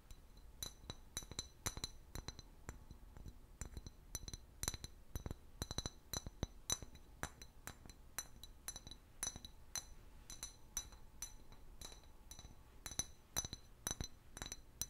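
An empty, hollow, clear glass bottle with a paper label is tapped and scratched with long nails. About fifty quick, bright clinks sound in an irregular rhythm, each with a short glassy ring, alongside faint scraping between taps.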